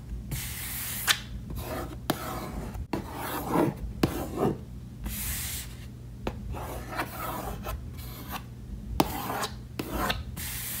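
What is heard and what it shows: Fingernails scratch back and forth in small areas across a hollow, reddish wood-grain case lid with latches. The result is bursts of dry, bright rasping with brief pauses and several sharp clicks, over a steady low hum.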